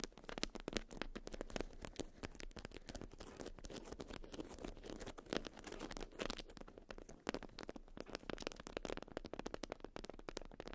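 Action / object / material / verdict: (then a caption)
scrape / wax-coated cotton wrap / waxed cotton / none. A watermelon-print beeswax wrap of wax-coated cotton, balled around a small hand-sized bundle, is scratched and pressed by long white almond-shaped acrylic nails. It gives a dense, continuous stream of crisp crinkles and crackles, with sharp, quickly decaying clicks over a low, soft rustle throughout.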